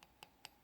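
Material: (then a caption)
Acrylic. An acrylic overlay on a broken natural nail is tapped four times to check that it has dried completely. Each tap makes a sharp, bright click with almost no ring, not a soft or squishy sound. The solid clicking shows the overlay is fully cured.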